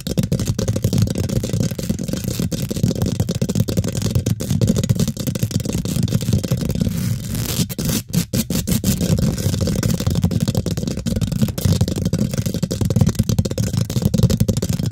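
Long pink glitter nails scratch and tap fast on the round, hollow steel mesh grille of a large condenser microphone, with hands working both sides of it. The result is a dense, continuous stream of rough, scraping rustles and quick dull taps, heavy in low, boomy rumble with little brightness. There is a brief quieter dip near the middle before the busy scratching resumes.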